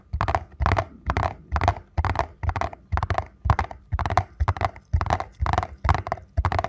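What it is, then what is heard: Cardboard box, tapped and scratched. A small printed paperboard box for a ZOLA ankle support, possibly holding a soft product, is held in both hands and tapped and scratched on its front and sides with fingertips and nails. It produces steady, rapid bursts of dull, low, hollow tapping mixed with brief rustly scratching, each burst dying away almost instantly.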